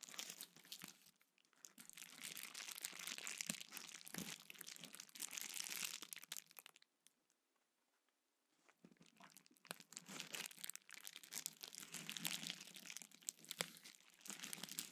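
A small sheet of clear plastic bubble wrap is held in both hands, squeezed, crinkled and popped with the fingertips, making dense, bright crackling with sharp little snaps. The crinkling runs for about seven seconds, stops for a near-silent pause of under two seconds, then resumes just as busily to the end.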